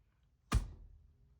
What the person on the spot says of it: Can you hear that rattle my desk?